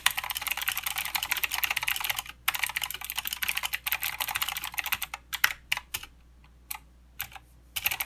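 Fingertips of both hands type on a mechanical keyboard with plastic keycaps and blue switches, producing a fast, dense stream of bright, sharp clicks. Around the two-second mark the rapid run pauses briefly, then resumes, and after the five-second mark it thins into sparse, separate keystrokes with short quiet gaps before a final burst.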